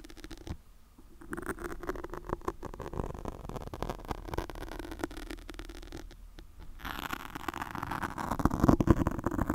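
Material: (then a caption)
Foam. Long pointed nails of both hands scratch and pinch a black foam microphone windscreen in fast motions. The result is a dense, crackling, scratchy rustle with a heavy low, muffled body. It grows louder and brighter toward the end.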